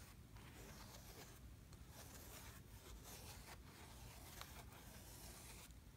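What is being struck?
Kinetic sand in a plastic tray.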